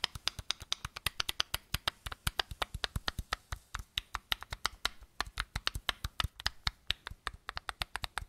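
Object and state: Plastic bottle cap tapped.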